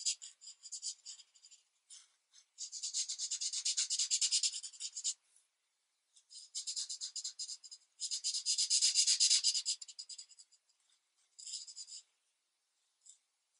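A marker tip is rubbed back and forth in small strokes over a thin paper coloring book page resting on a desk. It makes a dry, bright, high-pitched scratching rasp in quick rhythmic strokes, with two long steady bursts of coloring separated by short pauses and scattered lighter strokes.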